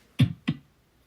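A solid physical desk is banged on twice, giving two low, dull knocks with a short thud and quick decay. The reason is to show that we live in a physical world.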